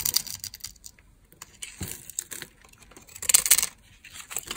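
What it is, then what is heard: Dry soap bar being scraped and cut. A small knife scrapes and cuts small cubes off a solid, hand-sized rectangular bar of dry red soap with a scored grid surface, held in one hand. Crisp, bright scraping and crunching come in dry bursts with no ring, the loudest cluster near the end, separated by brief quiet pauses.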